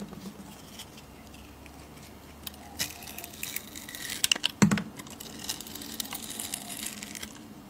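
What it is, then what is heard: Bar of soap being shaved. A metal blade scrapes and shaves the surface of a solid oval bar of glitter soap that is blue underneath. Soft, dry scraping and crackling fill the clip, with a brief cluster of sharper, brighter scrapes and clicks around the middle before it settles back to a steady, gentle shaving hiss.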